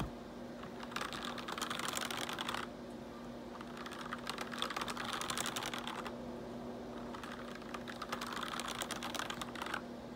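A forearm brushes over the keys of a black plastic RGB backlit computer keyboard, then fingertips type on it. Three bursts of rapid, bright, clicky keystrokes are separated by short pauses, over a faint steady low hum.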